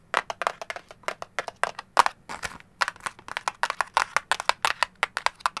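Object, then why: Printed cardboard candy box. Long gold claw nails tap and scratch the sides and face of a hollow orange-and-lemon printed cardboard candy box held in the hands. Around thirty short, dry, crisp taps come in quick irregular bursts, each centered near 1 kHz with a bright papery edge. Each tap dies almost instantly with no low-end thud.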